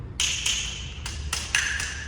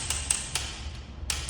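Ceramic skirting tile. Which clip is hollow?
The first.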